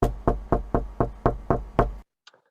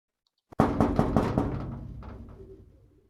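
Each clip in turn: First: Eight quick, evenly spaced knocks, each a short dull thud that dies at once: knuckles on wood. Second: A quick run of knocks on thin sheet metal, each leaving a wobbly, tinny ring that hangs on.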